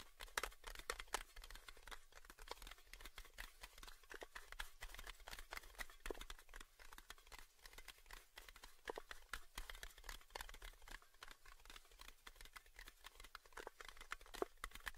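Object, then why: Small round metal tin lid. A small round red metal lid from a Baileys tin is held in both hands while fingertips and nails tap and scratch its top surface and rim. The result is a steady stream of quick, light, dry ticks and scratchy clicks with almost no ring, over a faint low background hum.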